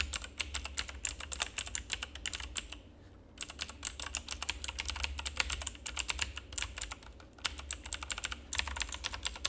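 Fingertips of both hands rapidly press and tap the keys of a full-size backlit plastic RGB mechanical keyboard with a hollow plastic housing. Dense, bright clicky keystrokes run throughout over a low steady hum, with brief pauses near 3 seconds and 8.5 seconds.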